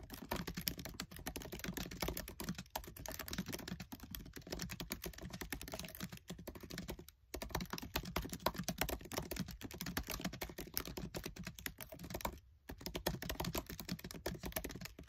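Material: Plastic.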